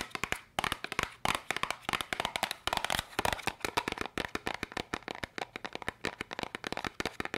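A small, hollow yellow and red cardboard candy box is tapped and scratched quickly with long nails. The clip is a dense run of sharp, dry clicks and bright scratchy rasps with almost no ring or low end.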